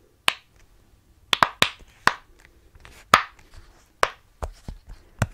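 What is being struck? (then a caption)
Silicone pop-it fidget toy. Fingertips press the hollow bubble domes of a rainbow, rectangular silicone pop-it fidget toy held in both hands close to the mic. Each press gives a sharp, bright, snap-like pop that dies away almost at once, in an uneven series with quiet gaps between them.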